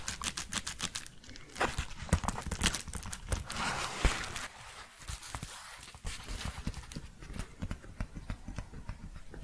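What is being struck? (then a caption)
Paper padded bubble mailer. Long painted fingernails tap and scratch a large, empty, flat yellow paper padded bubble mailer with an Amazon smile, held upright. Quick dry clicks and soft thuds mix with papery scratching and crinkling, with a brief quieter stretch in the middle.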